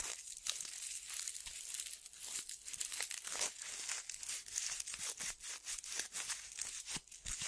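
A small, thin, flexible tan paper-backed sandpaper strip is held in both hands and bent and crinkled by fingertips with long dark-painted nails. The result is a quiet, bright, scratchy crinkling with rapid gritty crackles and short tearing-like rasps, with almost no low end.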